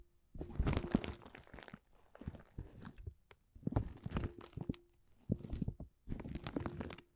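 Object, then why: Woven polyethylene tarp groundsheet. A flat hand taps and rubs the surface of a large, thin, dark blue woven polyethylene tent groundsheet with its fingertips. The result is bursts of soft crinkly rustling and dull pats, mostly low and muffled, separated by short pauses. A faint steady high tone runs underneath.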